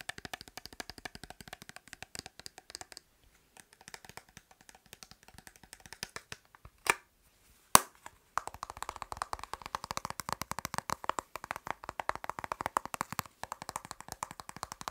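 A small, hollow, white printed cardboard makeup box is held in the hand and tapped rapidly with fingertips and nails. The result is a steady stream of light, dry clicks with a hollow papery tone and almost no ring. The tapping pauses briefly around three seconds, and two sharper, louder knocks land near seven and eight seconds before the fast tapping picks up again.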